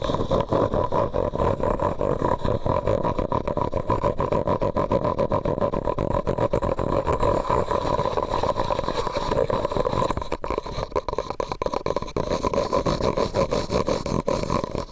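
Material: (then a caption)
Plastic. A medium white disposable plastic cup, hollow and empty, is held upside down over a microphone and tapped and scratched with fingernails. Dense, rapid clicks and scraping blend into a steady, hollow resonance with a mid-pitched tone, holding an even level for the whole clip apart from a brief dip partway through.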